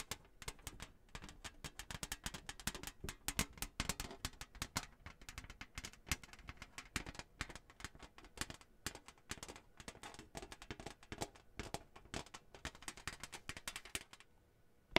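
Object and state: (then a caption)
Cardboard placemat tapped and scratched with nails. Long nails tap and scratch across a flat, thin, printed cardboard Hanukkah placemat with a menorah design, held by hand. Quick, dry, bright clicks and taps come in a dense, irregular stream, mixed with scratchy rustling, and each one stops instantly with no ring.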